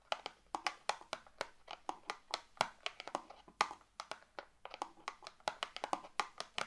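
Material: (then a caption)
Cardboard. Long neon green nails tap their tips on a small closed cardboard box of fireplace matches with red and white print, filled with matches and held in both hands above a wooden table. About thirty quick, dry, hollow ticks ring out at an uneven pace, each with a bright papery edge and a mid-range knock and almost no low end. Every tap dies away almost instantly.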